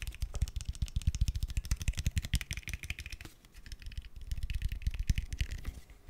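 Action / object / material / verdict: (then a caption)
tap / plastic gel bottle / plastic / none. Fingernails and fingertips tap rapidly on a tall, translucent green plastic aloe vera gel bottle that is hollow and filled with gel. The result is a dense run of short, dull, low thuds with light clicky tops. The tapping eases briefly just past the middle, then picks back up.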